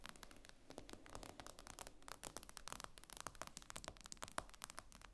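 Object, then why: Tablet with glass screen. Fingernails tap rapidly on the glass screen of an iPad lying flat, with the screen solid underneath. Dense, quick clicks sound with very short, bright ticks and almost no ring, over a faint low background rumble.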